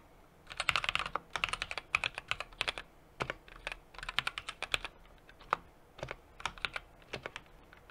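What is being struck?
Mechanical keyboard with metal case and plastic keycaps.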